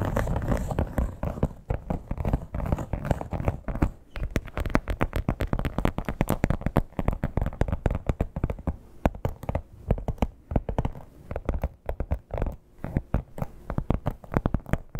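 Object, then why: Embossed leather clutch. Long black-tipped acrylic nails on both hands tap and scratch the surface of a flat red crocodile-embossed leather clutch. Rapid, dense, dull taps blend with scratchy rustling. The sound is low and muffled, with almost no bright content and very short decays.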